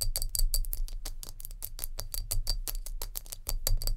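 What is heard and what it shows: Long nails tap rapidly on a glass jar with a lid, making a fast stream of sharp, bright clinks that each die away almost instantly, with a faint high glassy ring. A steady low rumble sits underneath throughout.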